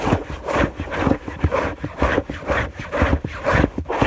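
Both hands rapidly scratch a white fabric sheet on a bed with long nails. The result is a steady run of quick, rough scraping strokes with a dull, low-heavy rasp and little bright hiss.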